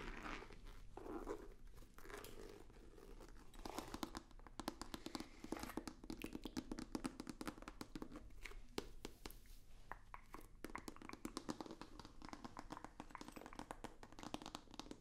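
A long, hollow, rigid white cardboard box with a black stripe is tapped rapidly with fingertips and nails. The result is a quiet, dense stream of dry, crisp clicks and soft crunchy scratches with a hollow low-mid body and almost no ring.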